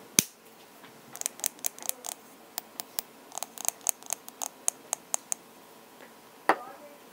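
A lip balm tube is tapped in ASMR style, producing a quick, irregular series of light, bright clicks that die away almost instantly. A louder tap opens the sequence, and another near the end is followed by a brief soft scrape, all over a quiet background.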